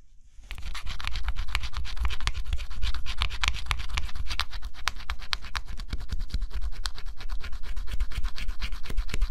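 A stylus held in the fingertips scratches the black coating off a flat scratch-off cardboard jigsaw puzzle, seen up close. After a brief quiet start, a steady run of rapid, uneven scratching strokes follows: dry, bright rasps over a low rumble.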